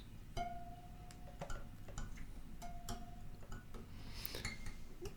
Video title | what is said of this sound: Yamaha FG445 Spring tune-up | by tapping, you should be able to hear that teep teep sort of sound. So that tells me that it's cut in at least a fairly good spot